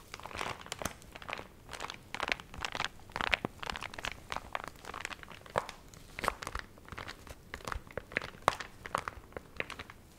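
A small, dried, wavy recipe booklet made of water-wrinkled paper has its pages riffled and crinkled with fingers and nails. The result is a steady stream of dry, bright crinkling and crackling, with many sharp, quick snaps that stop without ringing.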